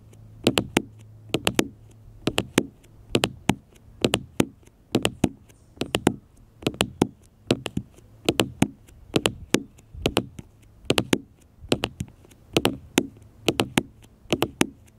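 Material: Glass.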